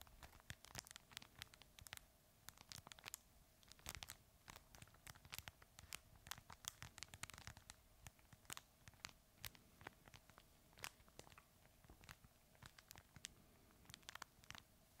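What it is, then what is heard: Fabric crinkle plush toy. A red fabric plush crinkle toy is held sideways in both hands and scratched and squeezed with the fingertips close to the microphone. It makes a dense stream of quick, bright crinkles and scratchy rustles with sharp, short snaps over a faint low hum.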